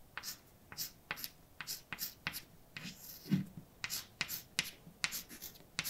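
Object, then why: Chalk stick on painted blackboard. A hand writes words with a white chalk stick on a large, flat, dark painted blackboard with a solid surface. Fourteen short, sharp taps and scratchy strokes ring out bright and dry, separated by brief quiet gaps, with one slightly heavier thud in the middle.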